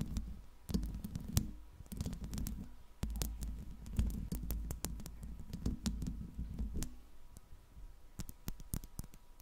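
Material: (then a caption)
Metal. Long pink nails scratch and tap the metal body and hollow mesh grille of a silver Blue Yeti microphone. A low, rumbling scraping runs throughout, broken by sharp, quick clicks that stop dead with no ring.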